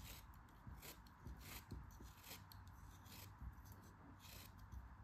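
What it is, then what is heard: Kinetic sand block being carved. A solid yellow kinetic sand block is carved and scraped with a metal craft knife, giving soft gritty scraping and crumbling sounds with brief bright hiss bursts. Low muffled thuds and rustles run underneath at a quiet level throughout.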